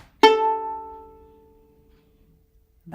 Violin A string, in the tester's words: rings for a long time as well